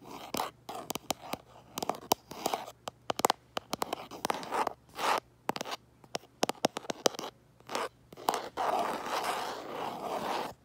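Fingernails tap and scratch the back of a hand-held smartphone in a plastic case. Quick, dry clicks come in irregular bursts, mixed with short rasping scratches, and a longer scratch closes the clip. Each click stops at once with no ring, and the sound is thin and mid-pitched with little low end.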